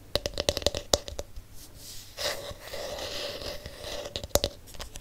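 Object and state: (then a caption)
Plastic hairbrush back, tapped and scratched. Fingertips and nails tap and scratch the hollow, smooth blue plastic back shell of a palm-sized plastic detangling hairbrush. A quick series of sharp, clicky taps rings with a hollow tone near 580 Hz. A stretch of bright, hissy scratching follows, and then a few more taps.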